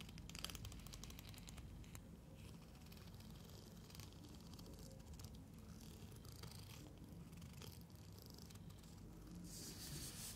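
Long fingernails run and scratch along the teeth of a long, solid neon-green plastic hair comb held in both hands. It makes a steady, dense low rumble sprinkled with quick bright clicks and ticks. The level stays even throughout, with a brighter, hissier stretch near the end.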